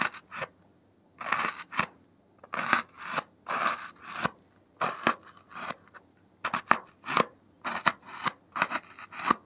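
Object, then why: Expanded polystyrene foam block. A gloved hand pricks and scratches the top surface of a large, solid white expanded polystyrene (thermocol) foam block on a table with the point of a metal safety pin. About twenty short, squeaky, bright scraping bursts come in quick clusters, separated by brief silences.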